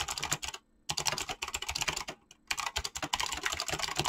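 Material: Plastic.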